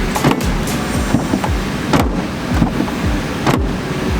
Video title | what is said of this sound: Installing Tailgate Reinforcement on a 2021 Ford Bronco-Jonathan Fixes | it sounds hollow with all that stuff in there